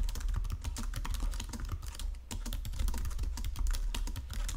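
Both hands type continuously with fingertips and short nails on a full-size white-and-silver plastic Logitech wireless keyboard lying flat on a marble surface. The result is a rapid, steady stream of clicking key taps over a low, thumpy body, with a brief lull just past the midpoint before the typing picks back up.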